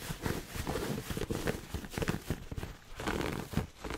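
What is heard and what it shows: Fingernails scratch quickly across the fabric pleats of a hollow red pleated satin heart gift box held close to the mic. The result is a dense, fast, scratchy rustle, full and low-heavy, in rapid strokes that rise and fall with very little ring after each one.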